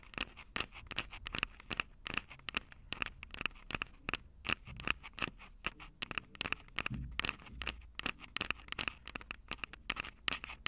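Long acrylic nails tap and scratch the metal mic grilles over the capsules of a Tascam DR-05 handheld recorder with a plastic body. A quick, irregular run of sharp, dry clicks with almost no ring is heard, bright and concentrated around 2.8 kHz, mixed with scratchy scraping between the taps.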